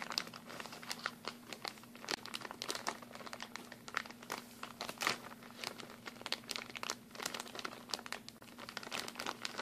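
A clear plastic packaging bag with a printed blue label, partly full of mini glue sticks, is squeezed and crinkled with fingertips and nails. Dense, bright crackling and crinkling crackles on and off throughout, over a faint steady low hum.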